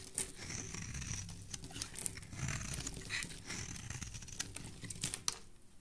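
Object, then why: Soap bar shaved with a metal blade. A dark metal blade shaves the corner off a solid embossed teal soap bar, leaving crumbly shavings. The blade makes a steady run of dry, crinkly scraping and crisp little ticks, bright and high above a soft low rumble, with a few sharper snaps.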